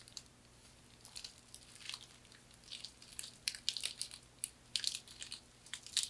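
Long manicured nails scratch and rub across a thin, light, flat hand fan of woven palm or straw in a herringbone weave with a knotted handle. The result is a quiet, bright, dry crinkling and scratching made of quick, uneven bursts that grow denser and sharper toward the end, over a faint steady low hum.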